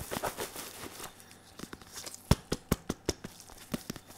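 A red and white padded synthetic leather boxing focus mitt, held in one hand, is tapped with the fingertips of a latex-gloved hand. An uneven run of soft, dull, low thuds with no ring is heard, starting with faint crinkly rustling and growing into sharper, more distinct taps.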